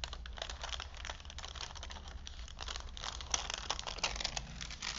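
A vintage paper movie film strip, a long printed paper strip stretched between wooden spools, is held in both hands while fingertips unroll and crinkle it. A dense, continuous run of bright, crackly crinkling and rustling plays over a steady low hum, with a few sharper crackles near the end.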